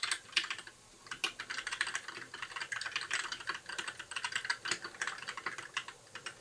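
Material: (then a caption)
Plastic. Fingertips of both hands type continuously on a compact white 60% mechanical keyboard with plastic keycaps and RGB backlight. The result is a steady stream of quick, bright, clacky key presses with almost no low end and very short decay, broken by a brief lull around the one-second mark.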